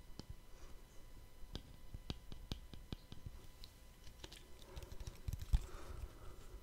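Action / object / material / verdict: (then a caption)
tap / small plastic lid / plastic / none. A small, round, palm-sized black cap or lid, likely plastic but possibly rubber, is held close to the microphone in one hand and tapped with the fingertips of the other. A quiet, uneven series of quick, dry taps follows, each a short click with a soft low thump and almost no ring. The taps come a little denser toward the end, where one lands noticeably harder.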